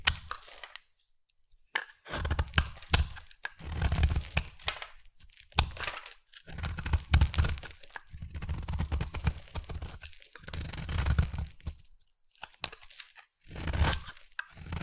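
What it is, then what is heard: Bar soap being carved. A solid oval pink bar of soap is scraped and carved with a utility knife blade, held by a hand with long nails, shaving it into crumbly pieces. Repeated bursts of crackly, tearing scrapes carry a low, dull body and a bright hiss, separated by brief silent pauses.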